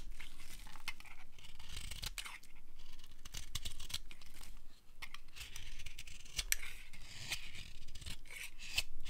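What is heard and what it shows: The edge of a solid, dry, pale light green bar of soap held in the palm is cut with a utility knife blade. Crisp, dry scraping and crunching strokes come in quick bursts with bright, brittle edges and short clicks, over a faint low rumble.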